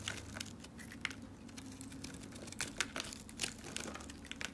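A dark, solid soap bar held in the hand is shaved with a box cutter blade, producing a rapid series of crisp, bright scraping crunches as crunchy crumbles break away. A faint steady low hum sits underneath throughout.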